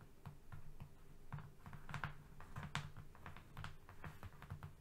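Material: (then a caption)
Cardboard. Fingernails tap and scratch their way across a flat brown cardboard strip. The result is a quiet, uneven run of dull, low-weighted taps mixed with short, dry, scratchy clicks that die away almost instantly.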